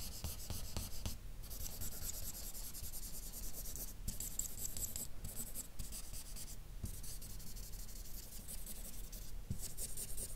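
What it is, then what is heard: Felt-tip marker shading on paper. A dark felt-nib marker rubs shading strokes across a map drawn on a flat white sheet of paper, colouring it in. The result is a steady, soft scratchy rubbing with a bright, high hiss and a low rumble beneath, broken by brief pauses as the strokes stop and restart.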